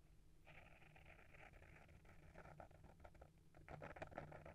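Short fingernails rapidly scratch the front cover of a small, solid hardcover book with a paper-wrapped board cover, held in the hand. The scratching is a quiet, dry, papery rasp in rapid, uneven strokes over a low steady hum, growing busier and louder toward the end.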